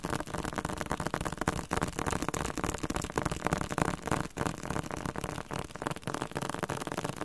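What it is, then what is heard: Hardcover dictionary with coated cover. A thick, solid yellow-green Spanish-Korean dictionary with a glossy hard cover is held and tapped on the cover with fingertips and nails. The tapping is rapid and irregular, with dull, short knocks weighted toward the low and middle range. The taps mix with lighter clicking and die away almost instantly.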